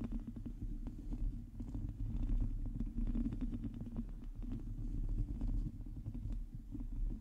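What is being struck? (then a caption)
Metal mesh microphone grille. Long teal nails scratch a hollow metal mesh microphone grille while the hands stay wrapped around the mic head. The result is a dense, continuous scratching with a deep, boomy rumble and a steady stream of small clicks and ticks. It holds a fairly even level throughout.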